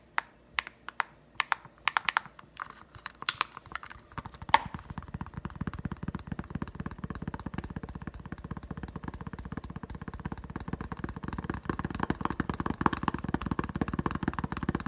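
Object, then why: Clear plastic blister pack. Fingertips tap and scratch a clear plastic blister pack holding a green Nite-Glo putty egg on a card. Sparse, crisp plastic clicks over the first four seconds give way to a fast, continuous flurry of tapping and scratching with a hollow, papery body and bright edges.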